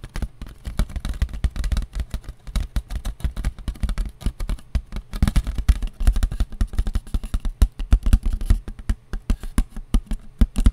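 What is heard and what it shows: A round white disposable foam plate with a ridged rim, thin and light, is held in the hands and tapped with long nails. The taps come fast and steady for about ten seconds, each a soft, dull, low thud that stops at once with no ring.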